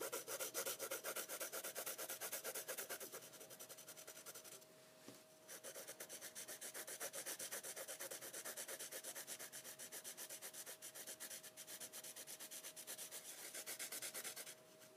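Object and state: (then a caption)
Pencil shading on heavyweight paper. A graphite pencil rubs back and forth across an inked sheet of heavyweight sketching paper lying flat on a wooden desk, shading it. The result is a continuous, bright, scratchy rubbing in quick rhythmic strokes, with a brief softer lull near the five-second mark. The sheet stays the same throughout.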